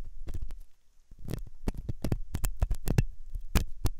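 A steel dental hook scratches inside the ear canal of a white silicone dummy ear on a binaural microphone, an ear that is solid and soft. The result is a string of short, close, muffled scrapes and taps, mostly deep thumps with faint bright crackle, set apart by a brief quiet gap.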